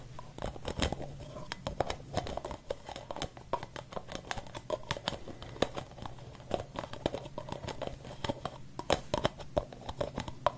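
Fingertips tap and scratch the white plastic cap of a capped blue and white aerosol spray can held close to the microphone. A rapid, uneven run of short, dry clicks and scratchy scrapes with bright edges sits over a hollow plastic tone near 600 Hz and a steady low hum, with each tap dying away almost instantly.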